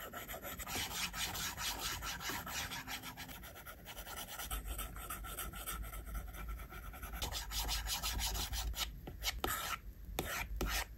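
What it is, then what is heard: Stylus scratching on a glass tablet screen. A plastic stylus tip rubs back and forth across the flat, solid glass screen of an iPad, shading a drawing. It makes a steady rasping scratch, with dense, bright strokes that repeat unevenly at about two per second. A few sharper scrapes come near the end.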